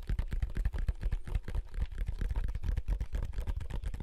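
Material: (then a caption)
Plastic. A large, hollow, wide black plastic handheld game console is held in both hands while the thumbs click its buttons and the fingers handle the casing. A quick, uneven stream of short, dry plastic clicks and taps comes through, each with a dull, low, hollow thump from the casing. The clicks die away almost instantly.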